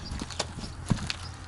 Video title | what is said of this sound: Is Your RV getting Clean? 😱 Really? | You can hear it hitting the cardboard.